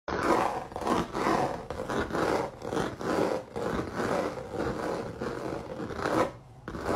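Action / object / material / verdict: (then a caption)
scrape / canvas covered in thick dried acrylic paint / acrylic paint / none. Fingertips and nails of a ringed hand scratch quickly across a flat, solid square canvas or panel covered in thick, dried, crinkled dark-red acrylic paint with raised droplet bumps. A run of dry, rasping scrapes swells and fades in uneven strokes, with brief quieter gaps between them.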